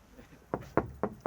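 Four knocks on the wood-look composite exterior cladding of a passive house. Each knock is short and dull, with a mid-range thud that dies away almost at once. The knocks do not sound like wood, because the cladding is a maintenance-free composite material.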